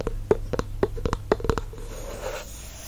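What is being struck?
Glass candle jar with wooden lid.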